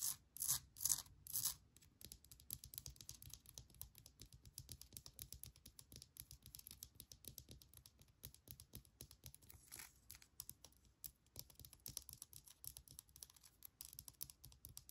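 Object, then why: Small granite rock. Long nails tap and scratch a small, solid, speckled granite rock with an air plant, held in the hands. It opens with three loud, bright scratching bursts, then settles into a quick, uneven stream of light, crisp clicks and scrapes with almost no ring, mostly in the high range over a faint low rumble.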